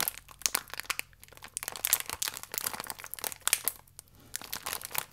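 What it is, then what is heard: Plastic-film biscuit pack, full. A full, small plastic-film biscuit pack has its film stretched and crinkled with fingertips. It makes bright, dense crackling crinkles in bursts, with two brief quieter pauses. Each crackle is sharp and dies away almost instantly, with almost no low end.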